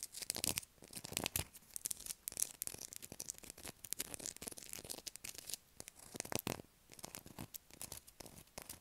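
A solid blue bar of soap is held in the hand and scratched with long acrylic nails, shaving off flakes. Dense, bright scratching comes in quick rasping bursts separated by brief quiet gaps, each stroke ending sharply with almost no ring.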